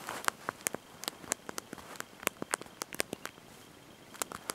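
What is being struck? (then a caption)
Small plastic keys of a slide-out phone keyboard. Thumbs and fingertips press and tap the small backlit plastic keys of a slide-out mobile phone's QWERTY keyboard, held in the hand, while typing a message. Around twenty quick, dry, bright clicks come in an uneven typing rhythm, each stopping at once with no ring, over a quiet background.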